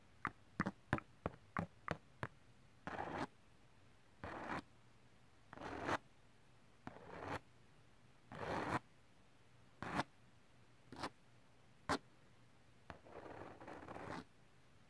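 The teeth of a white plastic wide-tooth comb are dragged across the textured surface of a glitter cardstock sheet. The clip opens with seven quick, sharp ticks, then moves into slower, uneven strokes of rough, bright scraping, some short and crisp and others longer hissing drags. It ends with a drawn-out gritty rasp.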